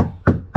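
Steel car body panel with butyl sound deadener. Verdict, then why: Solid. Two knocks on a steel body panel inside the cabin of a Foxbody car, lined with butyl sound-deadening mat, each giving a short, low, dull thud that dies away quickly. The deadener makes the panel sound solid rather than tinny.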